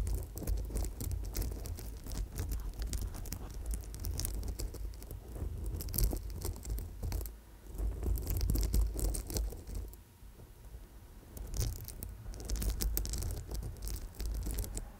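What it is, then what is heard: Amethyst chip bracelet. Fingernails scratch and tap the small stones of a purple amethyst chip bracelet on gold wire, held close to the mic. The result is a dense run of quick, dry clicks and scratchy rustles with low rumble beneath, briefly easing around the tenth second before picking up again.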